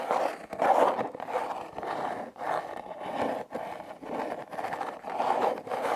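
Long red nails scratch the ribbed surface of a hollow, red heart-shaped corrugated cardboard box. The result is a series of raspy, midrange scraping strokes separated by brief pauses, with little low end and only faint brightness on top.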